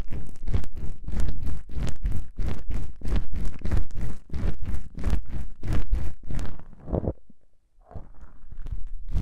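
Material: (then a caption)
Foam. Long pink-painted nails scratch the two small black foam windscreen covers on a binaural microphone, making a fast run of deep, muffled, rumbling scratch strokes. The strokes fade and briefly stop, then give way to softer, steady rubbing on the foam.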